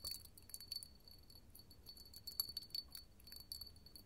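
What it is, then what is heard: Hobnail glass candle holder. A small clear hollow hobnail glass candle holder is held in the hand and tapped and scratched with long gold metal finger claws. Quick, bright clicks and light ticking scratches ring out in an irregular patter with a thin high glassy tone, over a quiet low background.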